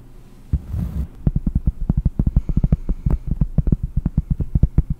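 Long painted nails scratch and tap the surface of a large round solid cork trivet held close to the microphone. A short scratchy rustle at the start gives way to a rapid, uneven run of dull, deep, low thuds that stop almost instantly, with no ring.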